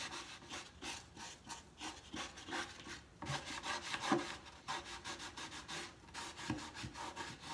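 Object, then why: Wooden slatted crate. A large, hollow, empty wooden crate-style box stand with white-washed slat sides and X braces is held steady at the top with one hand while the other rubs its side panels with sandpaper or a cloth. A series of dry, rasping back-and-forth strokes sounds, bright and scratchy, with a faint hollow body to the wood and no lingering ring.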